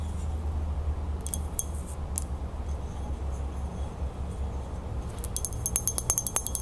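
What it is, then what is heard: Metal crown. Long nails tap and scratch the band and flat fleur-de-lis base of a small silver-toned metal crown, a hollow ring shape with spiky points, held in the hands. Sparse bright metallic clinks and scratches sit over a steady low rumble, then a quick run of fast, short-ringing taps closes the clip.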